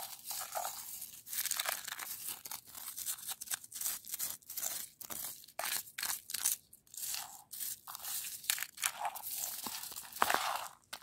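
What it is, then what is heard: Frozen snow crust. A hand with long light-coloured nails taps and scratches a large, solid outdoor surface of icy, crusted snow on the ground. Rapid bright, crunchy scrapes and clicks come in short bursts with brief pauses between them, with almost no low end.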